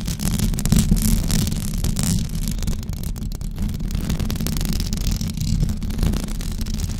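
Long blue acrylic nails scratch a white knitted fabric cover stretched over a rounded microphone head. The result is a steady, dense, muffled scratching rumble, heavy in the low end with only faint bright hiss above, and no clearly separated strokes.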